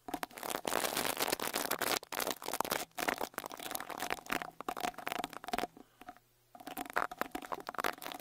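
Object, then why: Metal mesh microphone grille brushed with a bristle brush. A small white-bristle rat-tail brush with a wooden handle is brushed over the metal mesh grille of the right X-Y microphone capsule on a Tascam Portacapture X8 handheld recorder. Dense, scratchy bristle strokes crackle and rasp close up with bright, crunchy texture, breaking into choppy bursts and a short silent gap before the brushing resumes.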